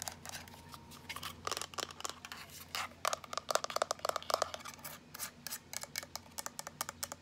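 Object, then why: Plastic power bank casing. A small teal plastic power bank with a USB port is tapped rapidly with fingertips and long nails. The result is a dense run of short, dry, bright clicks with a faint tonal ring in the middle of the burst, over a low steady hum.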